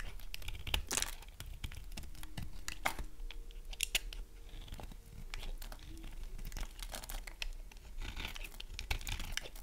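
A small knife blade shaves and scrapes curls off the end of a hand-sized, solid, dry green bar of soap held in one hand, with pink and green soap shavings falling onto a wooden board below. Dense, crisp scraping and crackly cutting sounds come in quick, short bursts with bright edges, along with faint brief squeaks as the blade drags. The sound stays close and dry throughout.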